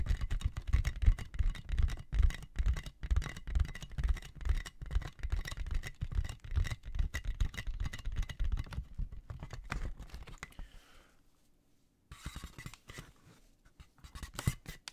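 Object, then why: Inflated plastic air-column packaging. A clear, inflated plastic air-column cushion bag with hollow tubes is held in both hands while fingertips and nails tap and scratch it. A dense, uneven stream of quick, dull low thumps with a faint scratchy hiss runs for about ten seconds, fades to near silence, then resumes as quieter, sparser taps.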